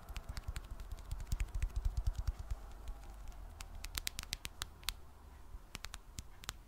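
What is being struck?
Smartphone in plastic case.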